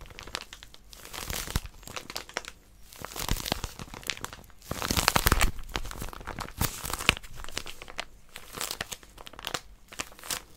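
Long nails grip and scratch the crinkly wrapper of a small white plastic-wrapped paper packet with a pink outline. Dense, bright crinkling and crackling comes in irregular bursts over about ten seconds, with short rustling pauses between them.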